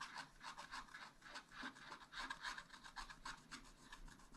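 A wooden stylus scrapes a black wax-coated scratch-art sheet in a spiral-bound pad, filling in a yellow area. Quick, uneven back-and-forth strokes make a dry, rasping scratch with a bright, papery hiss centered in the upper mids, and little low end.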